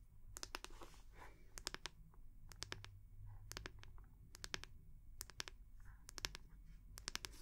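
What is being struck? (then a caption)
Small oval wooden brush back. Long nails tap and scratch the back of a small oval brush made of solid wood with a rope loop. Sharp, bright clicks land in quick clusters with almost no ring, separated by soft scratchy rasps over a steady low hum.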